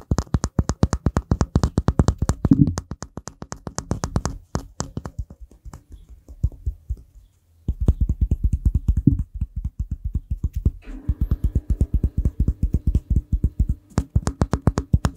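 A hand-sized, solid, rough-textured grey-green rock is held in one hand and tapped and scratched with the fingertips and nails of the other. Quick, dry, low taps come in rapid bursts with scratchy rustles between them and a brief quiet stretch midway. Each tap dies away almost instantly.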